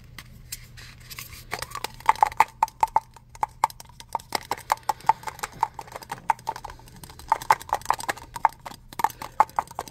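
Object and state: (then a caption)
Metal aerosol spray can. Fingertips quickly tap the body of a hand-sized red metal aerosol spray can with a black cap. The taps come in quick, uneven bursts, each a short, hollow metallic tick with a brief mid-pitched ring, like a soft clip-clop. A faint low hum runs underneath.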